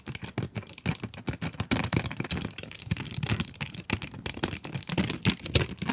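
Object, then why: Cardboard pencil box with plastic window. Long acrylic nails tap quickly on the plastic window of a full cardboard pencil box. The result is a rapid, uneven stream of short, dry clicks and crinkly taps, each with a soft hollow low thud beneath it. Every tap dies away almost instantly.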